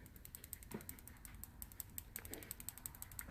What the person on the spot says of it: there's that little ball knocking around in there